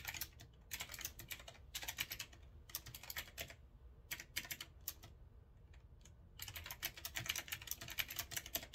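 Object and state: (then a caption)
Typewriter-style mechanical keyboard being typed on. Fingertips of one hand type steadily on a retro typewriter-style mechanical keyboard with a metal frame and round keycaps. Bursts of sharp, bright, clicky keystrokes with very short decay alternate with brief pauses, over a faint low hum.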